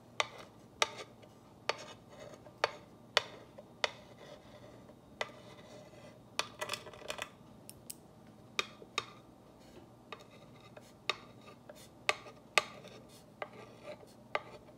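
A clear ball-tipped rod tool traces and scratches along the white letters of a solid, black-painted wooden wall sign with raised glitter stars. The result is a series of sharp, bright ticks and clicks that die away almost instantly, with soft scraping between them over a quiet background.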